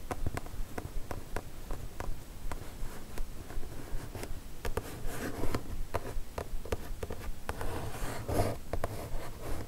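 Long nails tap and scratch across the upper surface of a kraft cardboard mailer box. Quick, irregular taps, about two or three a second, land as short dull knocks that die away at once, over a soft scratchy rustle. The sound is mostly low and thuddy, with little high-end brightness.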